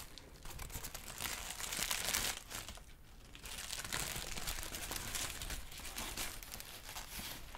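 A large, thin sheet of yellow-green crinkled tissue paper is crumpled and rustled with the fingers. It makes dense, bright crackling and crinkling that swells around the second second, dips briefly just before the third, then continues as a steady rustle to the end.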